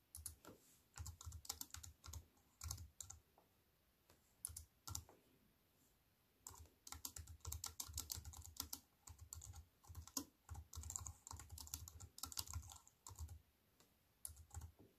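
Fingertips with long white-painted nails type on a slim wireless keyboard with a silver aluminium frame and black plastic chiclet keys, resting on a wooden table. The result is bursts of quick, crisp clicky taps with a soft low thud under each press, separated by short pauses.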